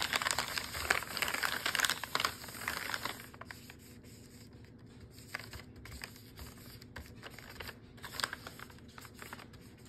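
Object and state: Plastic food package, crinkled.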